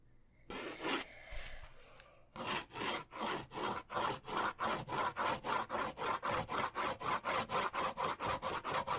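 A pen rubs back and forth across a white paper sketch pad held upright, making long, sawing-like scratchy strokes. After a couple of slower, irregular strokes, a steady rhythm of about 25 quick back-and-forth strokes follows. Each stroke is a dry, bright rasp centered in the midrange.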